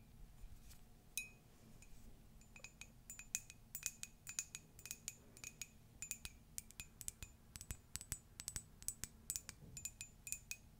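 A hollow, empty, flared ceramic mug with a pastel carousel print is tapped and scratched with long nails. Rapid, irregular taps produce bright, glassy clinks with a high ring that dies away almost at once, over a faint low background rumble.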